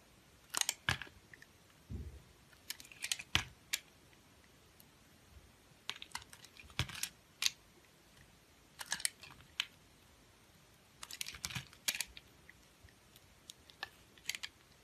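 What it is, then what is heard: Bar of soap being cut. A utility knife blade cuts thin slices from the surface of a solid, round, multicolored confetti soap bar held in the palm. Short, crisp, bright scraping and crackling bursts come in clusters, each dying away almost instantly, with quiet pauses between them.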